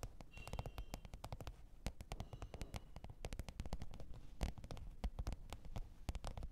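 Long pointed nails tap and scratch the top of a black textured faux-leather hard-shell microphone case with a zipper, lying flat on fur. It makes a rapid, irregular stream of short, dry clicks with bright, crisp edges over a soft, low, muffled thump. Each tap dies away almost instantly.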